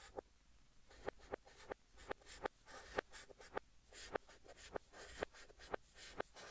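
Fingertips hold a white chalk stick and write text on a large flat green chalkboard, with the audio played in reverse. Soft scratchy strokes sweep across the board, broken by about 14 sharp, dry taps of the chalk against the surface. The quiet, bright scraping fades out between strokes.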